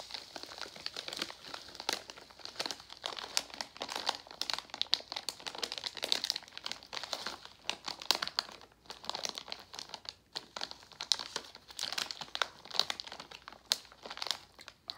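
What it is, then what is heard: Crinkled plastic foil candy bag. A partly full Jolly Rancher plastic foil candy pouch is squeezed and pressed with fingers and palms, giving dense, continuous crinkling. The bursts are sharp and bright, concentrated in the high range with almost no low end, and stop dead with no ring.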